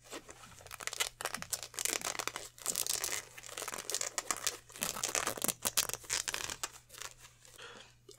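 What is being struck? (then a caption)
Polyester jersey. Two hands hold up a black polyester basketball jersey and stretch, crumple and rub the fabric near its lettering. The result is a run of bright, crisp crinkling and scratchy rustling bursts that rise and fall, over a faint steady low hum.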